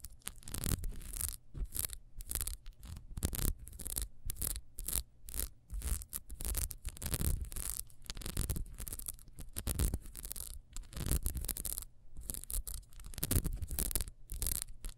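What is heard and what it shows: Long nails scratch quickly over the ridges of a small solid ribbed wax beehive candle lying on its side. The result is a dense run of short, rough scratching bursts with bright hissy edges over a steady low hum, separated by brief gaps.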